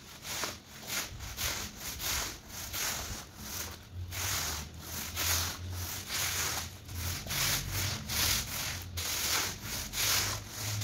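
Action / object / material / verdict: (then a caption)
scrape / woven textile rug scrubbed with a stiff broom / woven textile / none. A long-handled push broom with yellow bristles scrubs back and forth across a large, soaked, muddy woven rug lying flat on a stone floor. Each stroke makes a broad, bright, wet rasping swish with a faint low rumble underneath. The strokes repeat at a steady but slightly uneven pace of a little more than one per second.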